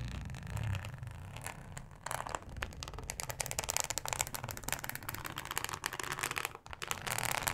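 Long acrylic nails scratch a thin, flexible, solid yellow plastic cutting mat with a ribbed texture. The result is a dense run of quick, bright scraping and crackling strokes over a low background rumble. The scratching grows busier and louder after the first two seconds, with a brief dip in the strokes near the end.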